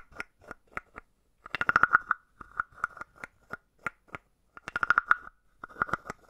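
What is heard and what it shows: A palm-sized hollow carved wooden frog is tapped on the head with a wooden stick. The clip has short, dry, hollow knocks with a woody tone centered near 1.4 kHz, with single taps spaced apart and two quick rapid-fire runs. Each knock dies away almost immediately.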